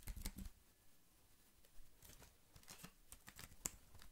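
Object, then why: Plastic computer keyboard. Fingertips type and tap on the keys of a slim black plastic computer keyboard held up in front of the face and off to the side. The result is a quick, irregular series of soft, dry clicks with bright, short-lived edges. The clicks come in a loose cluster at the start, then spread out with quieter gaps between them.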